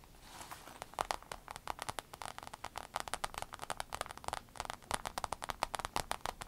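Long pointed acrylic nails on both hands tap and scratch the surface of a rainbow holographic vinyl fanny pack lying flat, soft and hollow. A rapid, uneven run of crisp clicks and scratchy crackles centers around 1 kHz with bright edges and almost no low end. Each tap stops dead with no ring.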